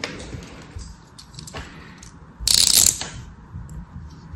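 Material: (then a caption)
Kinetic sand. A metal craft knife slices and scrapes through beige kinetic sand packed solid into a small star-shaped orange plastic cutter held in one hand. Soft, bright gritty scraping and crunching runs throughout, peaking in a louder, hissy slicing burst just past the midpoint before settling back to quieter scrapes.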